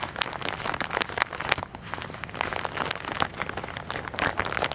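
Fingertips and nails tap and scratch a hand-sized, filled white and orange soft plastic package held in both hands close to the microphone. A steady run of dense, bright crinkles and crackles with sharp, quick clicks.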